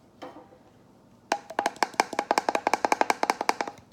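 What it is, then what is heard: Plastic water bottle tapped with nails. After a faint brief rustle, fingernails tap rapidly on a plastic water bottle, which replaces a glass jar. The taps are short, dry, hollow clicks with a mid-pitched knock near 870 Hz and bright edges, falling in a quick, uneven rhythm until the end.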